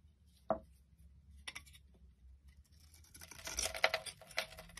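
A utility knife blade scrapes a solid, pale yellow, rectangular, palm-sized bar of soap held in the hand, shaving off curls and flakes. A sharp tick opens the clip, followed by quiet, scattered scraping. This builds into a dense run of bright, crisp shaving strokes near the end.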